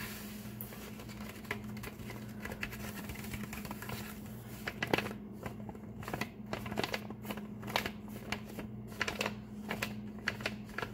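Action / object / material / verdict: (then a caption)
tap / brown kraft paper bag / paper / none. Fingertips of both hands tap fast and nails scratch across a flat, empty brown kraft paper bag lying on a table. The result is a dense run of short, crisp papery taps and dry scratches, some with bright crackly edges, over a steady low hum.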